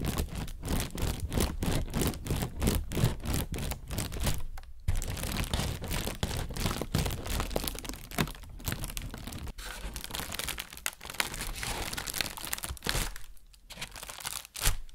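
An inflated, hollow white plastic bag is squeezed with the hands and tapped with a fingertip, giving a fast, uneven run of crinkling rustles and soft, dull taps with a bright crackle on top. The sounds come in steady bursts with brief quiet gaps, ending on one sharper tap.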